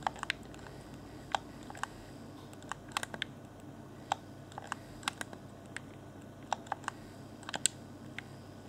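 A fingertip taps and presses the face buttons and hollow, transparent plastic shell of a clear Xbox One Afterglow game controller. About twenty short, dry plastic clicks and taps, some bright and sharp, stand out over a faint steady hiss, each dying away almost instantly.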